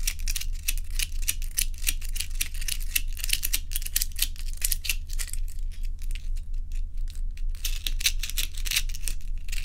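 Long nails tap and scratch quickly and unevenly across joined solid ice cubes held in both hands, making a dense run of short, bright clicks and scrapes with almost no ring. A steady low hum sits underneath throughout.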